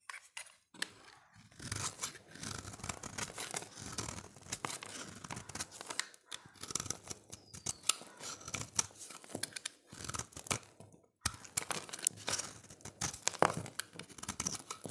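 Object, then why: Bar of soap scraped with a knife blade. A solid, dry, oval red bar of soap held in the hand is scraped and shaved with a utility knife blade. Rapid, bright, crisp scratching and shaving strokes run in bursts, with brief pauses near the start and around eleven seconds. Each stroke is sharp and quickly fading, with a slightly papery, tearing texture.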